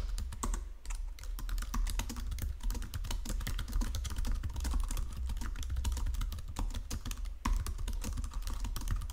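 Fingertips with painted nails type steadily across a full-size white and silver plastic Logitech keyboard with low-profile keys resting on a marble desk. A dense, continuous stream of quick, soft key clicks with short decays sits over a steady low rumble that carries most of the sound's weight.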